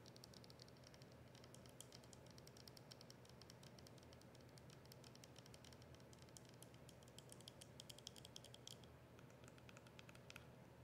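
Long acrylic nails tap rapidly on the printed label and plastic of a capped plastic soda bottle that is partly filled with liquid. The result is a quiet, continuous stream of dense, bright clicking taps with very short decay, over a steady low hum.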